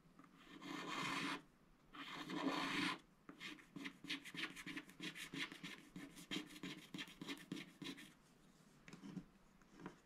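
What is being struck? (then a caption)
Coated scratch-art paper sheet scratched with a wooden stylus. A wooden stylus scratches across a coated scratch-art paper sticker sheet held flat, working over the koala and giraffe area. Two long, bright rasping strokes are followed by a quick run of short, choppy scratches that thin out into softer, sparser strokes toward the end.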